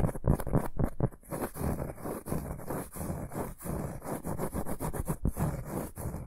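Fingertips and short nails scratch and tap the textured surface of a large, round, flat, solid cork board or coaster held upright in both hands. The result is a quick, irregular run of dull, muffled scratches and soft taps, mostly low in tone with short bursts and no ringing.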